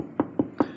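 Three taps on a spot of sheet metal under a car give a short, hollow, mid-pitched knock that dies away almost at once. The hollow sound marks it as a spot to avoid when lifting the car with a jack, to prevent damage to the vehicle.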